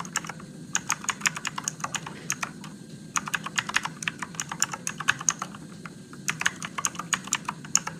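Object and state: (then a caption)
Plastic mechanical keyboard. Fingertips type on a Motospeed RGB-backlit mechanical keyboard with plastic keycaps and blue switches in a dark room. About 39 bright, sharp clicks come in quick bursts, with short pauses near 3 and 6 seconds. Each click dies away almost instantly over a faint low hum.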